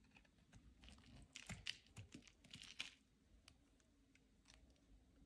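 A utility knife blade scrapes flakes off the edge of a solid white, palm-sized Carex bar soap held in the hand. Quiet, dry, crisp scraping and crinkling strokes are heard, growing louder and brighter in the middle of the clip before fading back to soft, scattered scratches.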